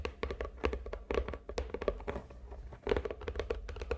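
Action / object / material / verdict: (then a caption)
tap / cardboard box tapped with fingernails / cardboard / none. Long nails tap quickly on the top and sides of a medium, hollow red and gold glitter cardboard gift box lying on a table. Each tap is a short, soft, hollow knock with a muted mid resonance, over a faint low hum.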